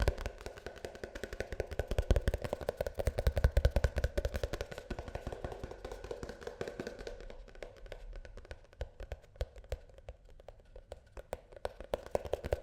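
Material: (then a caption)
Plastic. A plastic shampoo tube is tapped quickly and unevenly with light, dry clicks that stop at once with no ring. The taps come thick and steady for the first several seconds, then thin out into sparser, slightly sharper taps toward the end.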